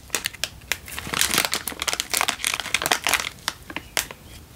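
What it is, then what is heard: Instant noodle packet in crinkly plastic wrapper. A single full Indomie instant noodle packet in a crinkly plastic wrapper is held in one hand and squeezed and crinkled with the thumb and fingers. Dense, bright crackling and crinkling bursts come quickly, one after another, with almost no low end. Each crackle stops dead with no ring.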